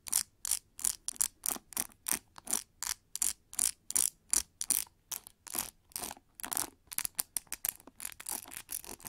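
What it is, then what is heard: Plastic paddle brush with metal pins. A pink plastic paddle brush with metal pins, lying on its hollow back, is scratched by long nails across the pins and the textured plastic back. About thirty short, bright, hissy scratching bursts follow in a loose, uneven rhythm, each dying away almost instantly with almost no low end.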